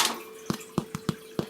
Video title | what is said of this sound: Robbie Makes Well-Fired Cheese Bread | you hear that? Oh, it's hollow.